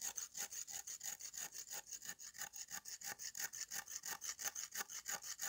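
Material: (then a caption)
Clay. A green-handled steel knife scrapes back and forth over a flat, solid slab of dried red clay held in the hand. Around three dozen quick, evenly paced strokes each make a short, dry, gritty rasp that is bright and high with almost no low end.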